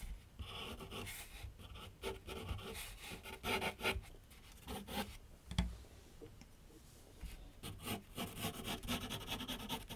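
A graphite pencil scratches and sketches lines across a large flat sheet of white paper mounted on a board on an easel. Dry, raspy strokes come in quick bursts with a bright scratchy hiss over a soft low rumble, easing into a quieter stretch before picking up again.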